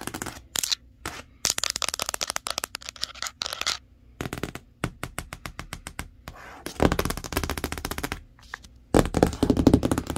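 Long acrylic nails scratch and trace over the printed surface of a large, hollow corrugated cardboard box for a 58-inch TV, sealed with packing tape. Quick dry clicks and taps come in irregular runs, then give way to dense, bright scratching bursts near the end. A faint low hum sits underneath throughout.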